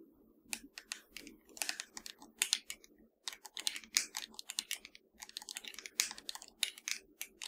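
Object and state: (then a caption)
Plastic game controller. Long nails tap and scratch the touchpad, buttons and shell of a hollow black plastic PS4 controller. The result is a quiet stream of rapid, bright clicks and short scratchy ticks in irregular bursts, each dying away almost instantly, with a brief pause near the middle.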